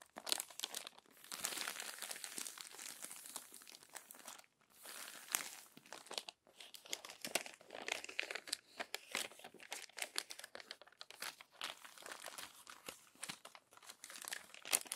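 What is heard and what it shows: Long nails flatten and turn the crinkled pages of an open glossy paper magazine. Dense, bright crinkling and crumpling rustles run throughout, with many sharp, quick-fading crackles and brief quiet gaps near 4.5 and 6.3 seconds. There is almost no low end.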